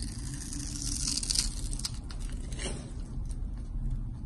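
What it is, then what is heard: Bar of soap being carved. A palm-size solid pink and white striped bar of soap, held in hand, is carved and scraped with a box-cutter blade into shavings. Bright, crisp scraping and shaving strokes ride over a steady low rumble.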